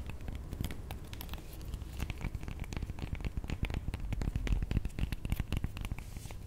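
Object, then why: Whole avocado. A whole avocado with dark, bumpy skin, about fist-sized and solid, is held in the hands and tapped and scratched with long manicured nails. Quick, uneven taps and scratchy, crinkly rustles overlap over a deep low rumble, with the clicks turning a bit louder and denser toward the middle.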